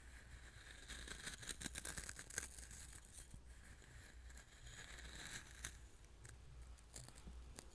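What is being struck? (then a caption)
Coarse salt grains in a small glass bowl. Fingertips mix and scratch through loose coarse salt in a small glass bowl set in front of the mic. A dense, gritty crunching and rustling of grains carries bright, sharp edges, with louder scratchy bursts over a steady low rumble.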